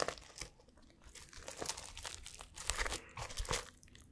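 Fingers scratch and brush the blue and silver plastic flip-sequins of a notebook cover and its spine edge close to the mic. The result is a busy run of dry, crinkly scratches and brief clicky bursts with bright, hissy tops over a faint low rumble, rising and falling irregularly with no ring after each stroke.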